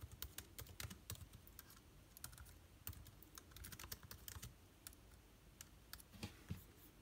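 Fingertips of both hands type on a backlit MacBook Air keyboard with plastic keys set in an aluminum body. An irregular run of short, crisp key clicks, each with a bright tick over a soft low thump, dies away almost instantly. Brief pauses break the flow, and a few harder taps stand out near the end.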